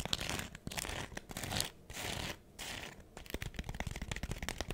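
Long acrylic nails scratch and tap a hand-sized, smiley-face scrub sponge made of porous, pink textured foam with a yellow foam layer. The result is a dense, dry, crinkly scratching with rapid bright clicks, broken by a few brief pauses, and nothing rings on afterward.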